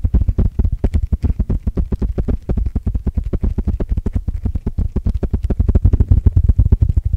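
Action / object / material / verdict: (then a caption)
tap / open-cell foam sponge block / foam / none. Fingertips scratch and tap the textured surface of a hand-sized, solid rectangular block of coarse open-cell white foam sponge held in one hand beside the mic. A rapid, slightly uneven run of short, dull, low thumps comes at about four per second, each with a faint crackly edge and almost no ring. The pattern continues steadily for the whole clip, growing a little louder toward the end.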